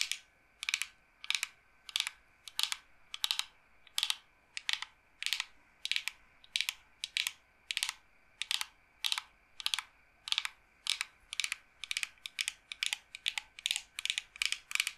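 A smooth wood-grain board or box, held upright, is tapped rapidly with long nails. Short, bright clicking taps come in quick bursts at a steady pace, with almost no low end and very little ring after each tap.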